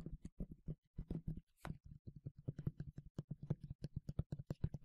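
Fingernails tap and scratch a medium yellow plastic sunscreen spray bottle with a translucent cap, hollow and partly filled, producing a rapid run of soft, low, hollow taps that die away almost instantly. One brief, brighter scratch stands out partway through, then the quick fingertip tapping resumes until the end.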